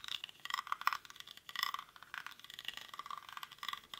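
Fingernails scratch quickly across the weave of a hollow, cylindrical woven rattan or reed basket held in both hands. The result is a dense run of dry, crackling rasps in rapid bursts, bright and thin with a midrange edge around 1.2 kHz and no low end.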